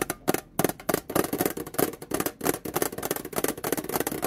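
Long painted nails tap and scratch the flat printed top of a small, hollow, rectangular printed metal domino tin lid, first lying on a towel and then set on its base. A rapid, uneven run of crisp, dry clicks and brushing scrapes is heard, with a light tinny tone around 390 Hz and almost no ring after each tap.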